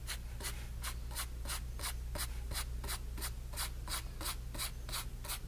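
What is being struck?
Flat paintbrush on stretched cotton canvas.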